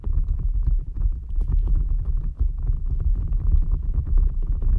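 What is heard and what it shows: A green rubber gel-bead squishy stress ball resting on top of a microphone is squeezed and rubbed with fingertips and nails. The result is a steady, dense stream of deep, muffled squishing and rumbling, with soft crackly friction textures layered over it and only brief dips in loudness.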